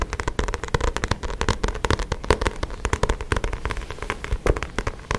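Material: Card.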